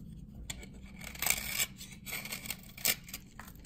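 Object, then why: Glycerin soap bar scraped with a metal blade. A dry glycerin soap bar from 1978, held in the hand, is scraped with a metal knife blade so that shavings gather on the blade. The scraping comes as bright, dry rasping strokes with a sharp high edge and no ring, the longest and loudest around the middle of the clip.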